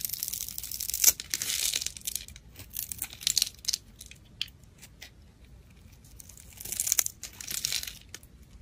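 A black utility blade scrapes small cubes off the surface of a solid pale soap bar scored in a grid. Bright, crisp, crumbly scraping comes in bursts with sharp flicks, loudest near the start, the middle and toward the end, separated by quieter stretches of faint crackling.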